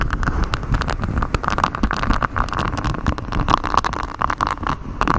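A flexible grey silicone sheet with a honeycomb hexagon texture, bent over a microphone, is scratched and rubbed by fingers in black knit gloves. The result is a dense, continuous stream of close, dry scratching and crackling clicks over a heavy low rumble, with a faint squeaky tone around 1.1 kHz.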